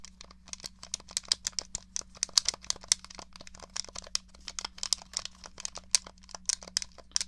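Long nails tap and scratch the shell and buttons of a small hollow grey plastic SNES controller, making a fast, irregular stream of sharp, bright clicks and faint scratches. Each tap is very short and dry, with a steady low hum underneath.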